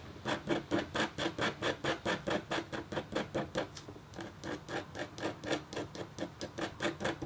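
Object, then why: Black-coated copper foil scratch board scraped with a metal stylus. A metal-tipped stylus scratches across a thin, solid, flat black-coated copper foil scratch board. A steady run of short, scratchy strokes repeats at about two per second, each a bright rasp with a faint tonal ring around 340 Hz that fades quickly.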